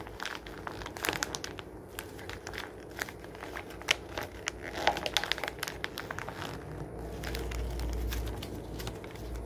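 A hand flips a page of an open glossy paper magazine resting on a wooden table, then crumples and crinkles the page with its fingers. Dense, dry crackling fills the clip, with sharp bright snaps and crinkles over a steady low rumble that swells slightly near the end.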